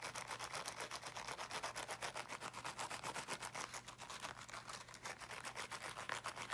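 Fingernails quickly scratch the woven fabric mesh of a small teal, box-shaped, fabric-covered object, apparently a portable speaker, held in both hands. Rapid, fairly even strokes make a dry, bright rasping sound that stays at a steady level throughout. A faint low hum runs underneath.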